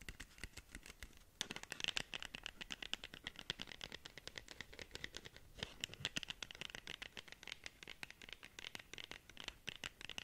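Long nails scratch and tap rapidly on the face of a long, narrow black cardboard lip gloss box. The result is a quiet, dense patter of dry, bright clicks and scrapes that stop instantly, with brief lulls before bursts of sharper taps.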